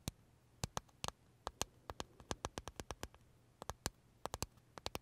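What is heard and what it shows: Fingernails tap and scratch the crisp shell of a large pale green pistachio macaron with filling, held in the hands. Quick, dry, bright clicks arrive in an irregular stream with very short decay. A faint low hum runs beneath them.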